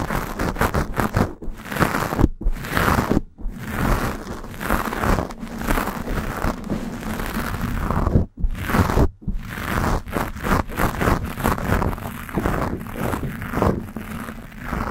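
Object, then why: Foam microphone windscreen. Long nails scratch aggressively at a black foam windscreen on a Blue Yeti microphone, making dense, crunchy, crinkling scrapes with a heavy low rumble. The scratching runs almost continuously, broken by a few brief silent pauses.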